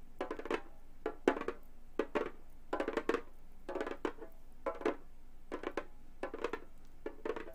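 Gold metal finger claws on both hands tap and click across the textured synthetic skin head of a round, hollow Remo frame drum lying flat, while jewelry chains on the hands may jingle slightly. The sound comes in short bursts of quick, dry, wood-block-like clicks with a hollow midrange body that dies away almost instantly, separated by brief quiet gaps.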